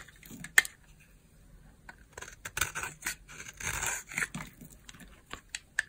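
A solid purple dry bar of soap held in the hand is sliced and scraped with a utility knife blade, shaving brittle flakes off its surface. Short, bright, crisp crunches and scratchy scrapes come in irregular bursts with quiet gaps between, a few sharp clicks standing out above the rest.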